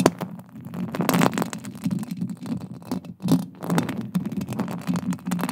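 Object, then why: Metal mesh microphone grille. Long acrylic nails scratch and tap a silver metal mesh microphone grille, making a dense, continuous scratchy rasp with a hollow low-mid body. Brighter, clicky taps and scrapes burst out in clusters over the steady scratching.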